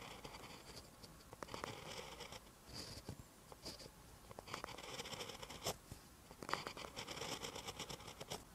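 A metal-tipped pen writes green Korean characters on a lined paper notebook page. Quiet, dry scratching and scraping strokes on the paper surface come in short bursts with brief pauses. The sound is bright and thin.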